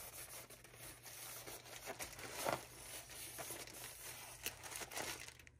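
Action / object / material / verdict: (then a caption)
scrape / paper towel rolls in thin plastic wrap / plastic film / none. Fingertips and nails rub, scratch and crinkle the thin plastic wrap on a pack of paper towel rolls lying on a counter. The result is a soft, continuous crackling and rustling with brighter scratchy bursts, the loudest around the middle of the clip.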